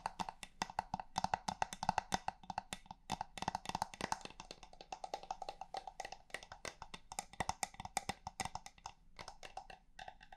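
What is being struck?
Small wooden box.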